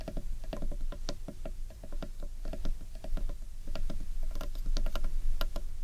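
Fingertips and long nails tap and scratch the underside of a large, hollow carved wooden bowl. Quick, uneven runs of hollow, woody knocks with a steady resonant tone are heard, broken by brief dry scratches and clicks over a low background rumble.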